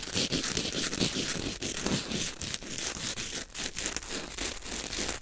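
A small, white, partly torn corn starch foam packing peanut of solid lightweight foam is crushed, crinkled and pulled apart with fingertips and nails close to the microphone. It makes a dense, continuous run of bright, crunchy crackles and squeaky tearing, mostly high in tone with little low end.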